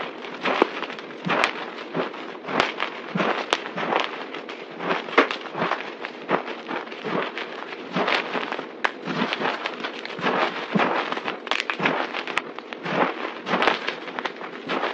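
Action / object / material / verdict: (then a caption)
scrape / pile of crumbled soap / soap / none. Hands squeeze and crunch a pile of crumbled dry white soap powder and small chunks on a table, pressing it with fingers and palms. Steady, dense crackling and gritty crunching fill the clip, with bright sharp snaps scattered throughout and almost no low end.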